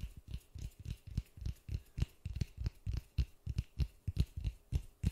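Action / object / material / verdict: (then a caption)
tap / polystyrene foam ball / polystyrene foam / none. White-gloved fingertips tap and scratch a large white polystyrene foam ball held close to the mic. About twenty soft, dull, low thumps follow one another quickly at an uneven pace, each dying away almost at once, with a faint bright scratchy rustle between them.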